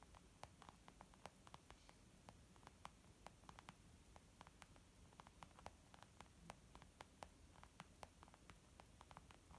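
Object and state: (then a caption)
Leather makeup bag. Fingertips and nails tap on both sides of a white textured leather zip pouch used as a makeup bag. Quiet, short, dry clicks and light pats come in an irregular patter, each dying away at once, over a steady soft hiss and low rumble.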